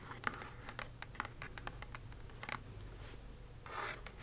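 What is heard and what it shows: Long acrylic nails scratch and trace across the front of a small, hollow, square kraft cardboard box printed "Magic Delivered." Quick dry scratches and sharp clicks are followed near the end by a longer rasping stroke, over a low steady hum.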